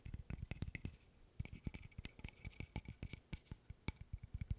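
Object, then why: Small wooden interlocking stick puzzle. A small, assembled wooden burr puzzle, an interlocking stick puzzle of solid light-wood pieces, is held in both hands while fingertips and nails tap and scratch its surfaces. About 29 short, dry taps land in an uneven, rapid run with a brief lull near the one-second mark. Each tap is a dull, low knock with a faint bright click that dies away almost instantly.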